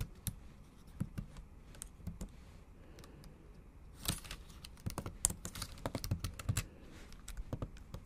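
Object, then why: Laptop keyboard, plastic keys. Long acrylic nails tap and type on the black plastic keys of a MacBook Pro laptop keyboard set in an aluminum body. Short, sharp clicks with a low thump and a bright tick die away almost instantly. They come in an irregular run, with a quieter stretch early on and a denser flurry of typing from about 4 seconds.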